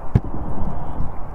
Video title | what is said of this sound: How I Built My Polytunnel - 0007-2018 | It's like a drum. And that has never been tightened since the day I put it on. It stayed nice and tight.